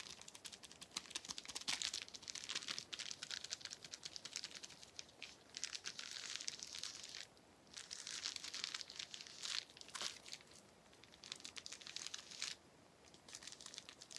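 A small, flat sheet of clear plastic bubble wrap with air-filled bubbles is held up in one hand and tapped and crinkled with the fingertips. It gives a dense, bright crinkling and crackling with little low end, coming in bursts broken by short quieter pauses near the middle and toward the end.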